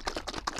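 A plastic bottle of Novus No. 2 liquid plastic polish is shaken well before it is used on a 1/32 scale Porsche 356 Speedster model car body. The shaking makes a quick series of short, bright, clicky sloshes. Each one fades almost instantly.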